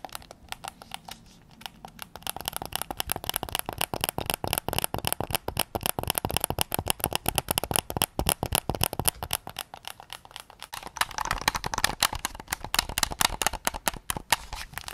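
Fingertips tap rapidly on the face and back of a white and black PS5 controller made of hollow plastic. The result is a dense stream of short, crisp, clicky taps with a bright top end and little ring. The tapping starts sparse, quickens after about two seconds, and grows louder and busier near the end.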